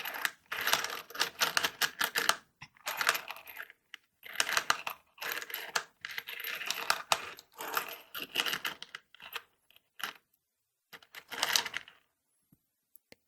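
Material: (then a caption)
Metal. The first compartment of a found plastic toolbox, holding an assortment of loose metal screws (mostly Torx, some of them wood screws), is shaken. Loud, bright metallic jingling rattles come in repeated bursts separated by short pauses. The bursts thin out to a few sparse clicks at the end.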